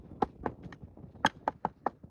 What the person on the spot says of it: You can hear the knock on the plastic.